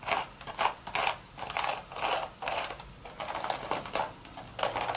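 Long red nails tap and scratch the hollow crown of a beige woven straw hat. The result is a quick series of dry, crackly, papery bursts centered around 800 Hz with a bright, rustling top end. Each burst dies away almost instantly, with quieter scratching in between.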